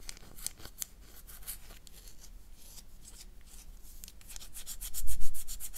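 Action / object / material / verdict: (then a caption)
scrape / solid bar of soap / soap / none. A solid oval bar of black soap, held in the hand, is scratched with long dark nails. Soft, dry scratching and rubbing strokes come in quick bright streaks, staying quiet at first and growing louder and denser toward the end.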